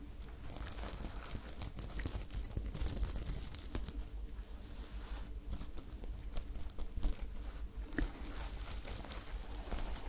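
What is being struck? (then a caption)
Sequin-covered fabric top. Long nails scratch and rub the sequins of a sparkly silver sequin top held up in one hand. The result is a steady stream of crinkly, bright rustling and scratching in uneven bursts, over a low, constant hum.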